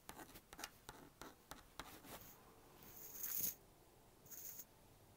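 A plastic magnetic stylus draws a mouse on a small blue-and-pink plastic magnetic drawing board, tapping out about eight short, crisp clicks. Two longer, bright scratching strokes follow as lines are dragged across the screen. The sound is quiet and high-pitched, with very little low end.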